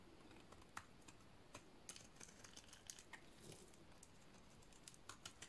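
A solid white dry soap bar is shaved with a utility-knife blade, producing a quiet series of short, crisp scraping and cutting clicks. Each stroke is bright and dry, with almost no ring, over a faint low background hiss.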